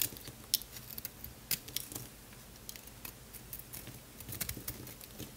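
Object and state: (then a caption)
Bar soap being carved. A small, solid pink Lux bar soap, almost fully unwrapped and held in the hand, has crunchy shavings carved off its surface by a utility knife blade. Quiet, dry scraping runs throughout, broken by sharp, bright crunchy clicks as the blade bites into the soap and shavings break away.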